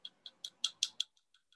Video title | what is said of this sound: Striped Bass Dissection and Q&A | you can hear that that is a hard bony plate